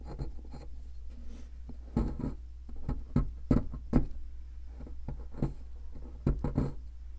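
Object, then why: Plaster excavation block. A thin metal pick scratches and scrapes the surface of a large white solid plaster (gypsum) block shaped like an ammonite, held by a hand with long red nails, as loose powder falls off. About thirteen short, dry scraping bursts cut through a steady low hum, with a few sharper, louder strokes in the middle and near the end.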